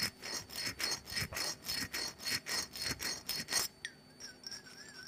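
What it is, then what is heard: Glass perfume bottle with rough coating. Long nails scratch quickly back and forth across the rough, glitter-coated surface of a small black glass perfume bottle, held in hand and partly filled with orange liquid. The result is a steady rhythm of bright, hissy rasping strokes. After about three and a half seconds the scratching stops, leaving a quiet background with a faint, thin, wavering tone.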